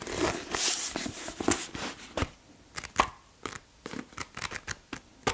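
A thumb quickly flips and riffles the paper pages of a thick blue softcover paperback held in one hand. It makes a dense, card-shuffling flutter at first, then breaks into sharp, papery flicks with quiet gaps between them.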